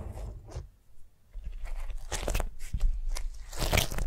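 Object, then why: Beeswax-coated cotton wrap on a vinyl mat. Long nails tap and scratch a flat beeswax-coated cotton food wrap lying on a vinyl mat. The result is irregular bursts of crisp, crunchy crackling with bright, papery scratches over soft low thuds, louder toward the end.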